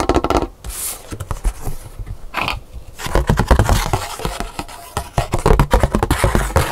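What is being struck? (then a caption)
Thin paper scratch-art card. Long pink nails tap and scratch the surface of a thin black scratch-art paper card with colored lettering, held up in the hands. Quick, dense clicks and scraping strokes come in bursts, low and dry with almost no ring.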